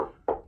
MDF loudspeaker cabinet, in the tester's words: Proper knock test. Listen to that. Dead MDF construction.